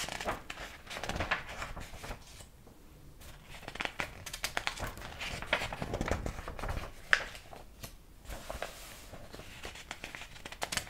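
Fingertips turn the yellowed, illustrated paper pages of a large old hardcover book with a dark cover, held open. The pages give soft, dry flicks and rubbing crinkles in quiet bursts, with a sharp snap near the middle as a page flips over.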